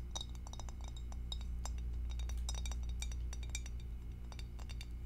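Long acrylic nails tap on the bottom and rim of an empty, hollow, clear glass two-compartment rectangular food dish held in both hands. Quick, irregular bright clinks and ticks sound over a steady low hum, and the glassy taps ring briefly.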